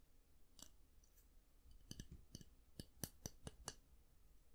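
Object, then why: Round hair brush with plastic handle and bristles. Fingernails tap and click the black-and-white plastic handle of a round styling brush and flick its bristles. A quiet series of sharp, dry clicks comes at an uneven pace, each one bright and very short over a low, soft background.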